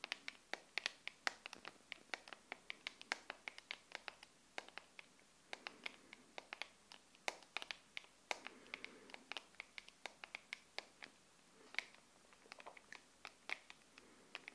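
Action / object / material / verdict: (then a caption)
tap / plastic phone case / plastic / none. Long acrylic nails scratch and tap the back of a smartphone in a clear plastic liquid-glitter case held in both hands. The result is a steady run of sharp, bright clicks and brief scratchy strokes with almost no ring or low end, over faint background hiss.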